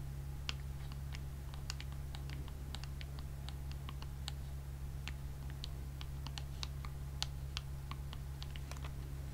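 A small flat white cardboard package with a clear plastic blister of press-on nails is held in both hands and tapped rapidly with long acrylic nails. Quiet, irregular bright clicks patter over a steady low hum.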